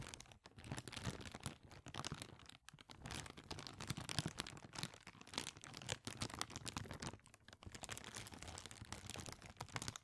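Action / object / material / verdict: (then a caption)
scrape / thin clear plastic bag / plastic / none. A small, clear, thin, empty plastic bag is held in both hands close to the microphone and crinkled and squeezed with the fingertips. It makes a dense, continuous crackle of sharp, bright crinkles over a low rustle, with brief quiet gaps near 0.4, 2.6 and 7.3 seconds.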